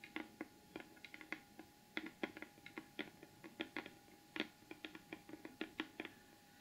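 Long acrylic nails tap rapidly on the lid of a large, flat, closed cardboard gift box covered in gold glitter paper, which is rigid and hollow. About 29 quick, dry clicks are heard in an uneven rhythm, each with a hollow low-mid body and a bright tick that dies away almost instantly. The clicks stay quiet over a faint, steady background hum.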